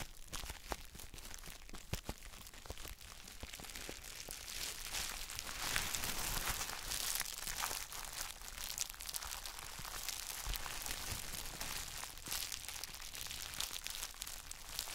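Gloved fingertips squeeze and rub clear plastic bubble wrap around a palm-sized gym chalk block held in both hands. Continuous bright crinkling and crackling is heard, with dense irregular snaps throughout.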